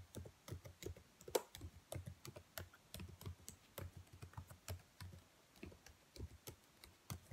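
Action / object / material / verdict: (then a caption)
tap / plastic laptop keyboard keys / plastic / none. Long nails and fingertips type and tap on the black plastic keys of a dark laptop keyboard, making about 24 quick, quiet clicks at an uneven pace. Each press is a short, dry click with a soft low thud under a faint bright tick that dies away almost instantly.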